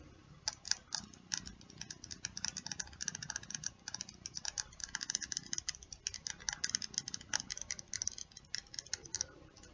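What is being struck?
Small plastic lip gloss tube.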